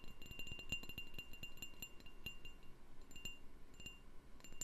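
A candle in a jar is tapped repeatedly, producing quick, bright clinking taps with a chime-like ring near 2.8 kHz and a higher glint above it. Each tap decays quickly, with soft low thuds underneath.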